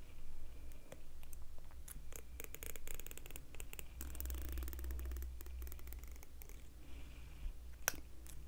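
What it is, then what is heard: Plastic comb strummed. A medium pink plastic comb with fine, solid teeth is held in one hand while a fingernail of the other hand strums and scratches along its teeth. Rapid, dry, bright clicks and raspy scrapes ride over a steady low rumble throughout, with a sharper crackling flurry near the end.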